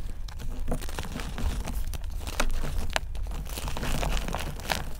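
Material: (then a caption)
Chalk, cornstarch. Hands break chunks off a multicolored, layered block of dried gym chalk and cornstarch mudpie and crush them into a pile of powder. Dense, dry crunching and crumbling crackles run throughout, with sharp bright snaps over a soft low rumble.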